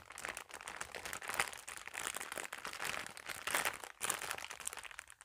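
A thin, clear plastic packaging bag, flat and empty, is held in both hands and crinkled and rubbed with fingertips and long nails. The result is continuous, bright crinkling and crunching with dense overlapping crackles and almost no low end. Louder bursts of rustle rise and fall throughout.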